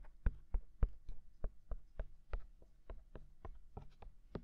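Fingertips tap both white silicone ears of a binaural microphone, giving about seventeen soft, dull, quickly damped taps at a loose, uneven pace. The taps are low and thumpy, with a faint brighter edge on each one.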